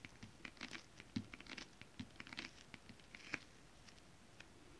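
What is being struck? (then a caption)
Foil-printed stretch fabric tapped with long nails. Long acrylic nails on both hands tap a flat, iridescent holographic mermaid-scale foil-print stretch fabric. The result is a quick, irregular patter of light, crisp clicks with a bright, scratchy rustle. Each tap is quiet and dry, dying away almost instantly.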